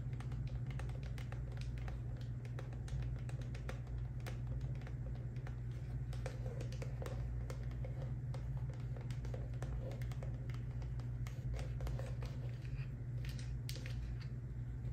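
Long nails tap and scratch a small white squeezable plastic moisturizer tube with lotion inside, held in the hands. Quick, light clicks and soft scratches run steadily throughout, over a constant low hum.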